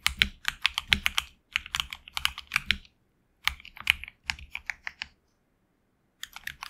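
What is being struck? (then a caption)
Mechanical keyboard with plastic keycaps. Fingertips of both hands type on a HyperX Alloy Origins Core tenkeyless mechanical keyboard with HX Red switches, PBT plastic keycaps on an aluminum plate, and a hollow case. Four bursts of rapid keystrokes, separated by short pauses, produce crisp, bright clacks. Each clack is very short, with almost no ring and little low end.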